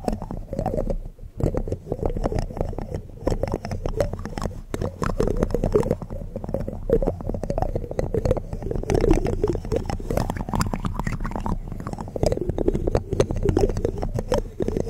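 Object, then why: Metal mesh microphone grille. Fingertips and nails of both hands scratch and tap the bare mesh metal grille of a large hollow USB condenser microphone at close range. The result is a dense, continuous stream of rapid scrapes and taps with a heavy, boomy low rumble and a hollow midrange resonance near 420 Hz. The level stays fairly steady apart from a brief dip near the one-second mark.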